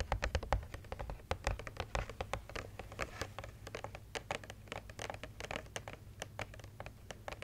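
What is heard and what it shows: Long red nails tap and scratch across a large, flat, printed cardboard advent calendar with an angels design, about 30x40 cm, holding small compartments. The result is a rapid stream of short, dry clicks and scrapes with no ring, over a low steady hum.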